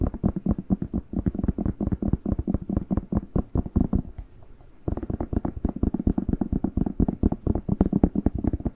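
Fingertips tap rapidly on the waxy skin of a whole, fresh, hollow, hand-sized red bell pepper, with nails scratching across its surface. The steady stream of short, dull, low-pitched taps pauses briefly for a softer stretch of scratching near the middle, then resumes.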